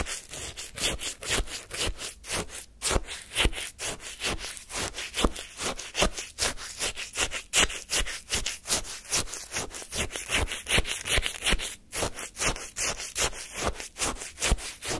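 A wooden spoon scrapes the crunchy frozen surface of lemon shaved-ice sorbet in a small paper cup. Dozens of quick, steady strokes make a bright, gritty, crackling rasp with a faint low thump in each pass.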